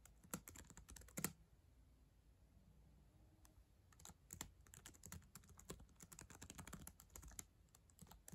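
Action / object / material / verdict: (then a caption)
tap / plastic laptop keyboard keys tapped with fingernails / plastic / none. Long acrylic nails and fingertips type on the plastic keys of a black ThinkPad laptop keyboard, a solid device, making quick, crisp clicks with bright ticking edges and a soft low thud beneath. A short flurry of typing gives way to a quiet pause of about two and a half seconds. Then steady typing resumes and runs to the end.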